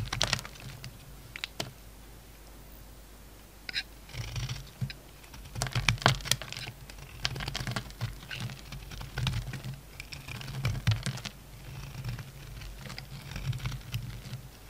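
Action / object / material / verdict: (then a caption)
scrape / bar of soap / soap / none. A utility knife blade carves crumbly flakes from a solid orange soap bar with purple edges. Dry, crisp scraping and crackling comes in uneven bursts of bright, clicky texture over a steady low hum. The quieter stretches between the strokes leave only a faint hiss.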